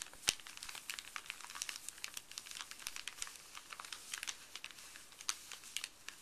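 Fuzzy gloved fingers rub and crinkle a creased, empty, printed white paper pharmacy bag on a wooden table. The result is a dense, quiet stream of dry crackles and crinkles, almost all bright and high, with very little low end. A few sharper snaps stand out near the start and toward the end.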